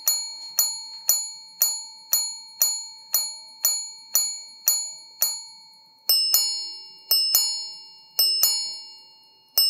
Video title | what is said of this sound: Les nouveautés CHOPARD en direct du salon WATCHES & WONDERS de Genève | le son est cristallin, le son est exceptionnel